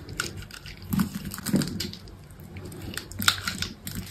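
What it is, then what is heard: Bar soap being scraped. A utility knife scrapes small cubes off a solid green bar of soap that has been scored in a grid and is held in the hand. The result is a series of soft, dry, crumbly scrapes and crackles with a low, muffled body and a bright edge, each dying away almost at once.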